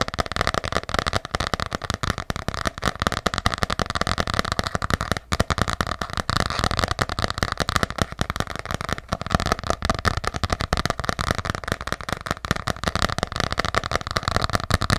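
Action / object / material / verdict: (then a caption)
tap / hardcover journal with embossed cover / cardboard / none. Long nails tap fast on a small, ornate, solid hardcover journal with an embossed cover. The taps come in a dense, unbroken stream of short, crisp clicks that sound like crackling, each with a dull low knock and almost no ring.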